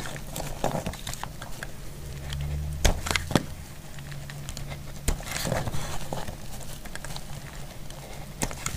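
A thin, solid, dry yellow soap bar held in the hand is peeled into long strips with a metal utility blade. Soft, crackly scraping runs throughout, broken by a few sharp, bright clicks and snaps, over a low steady hum.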